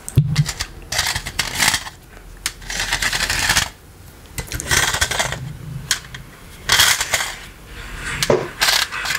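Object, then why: Plastic electric fly swatter with metal mesh. A hollow green plastic electric fly-swatter racket with a wire mesh face, held up close, is tapped and scratched on the mesh by small rubber toy hands worn on the fingertips. Bursts of bright, rustling scratches alternate with quieter stretches and sharp, dry taps that die away almost at once, plus a few low thumps.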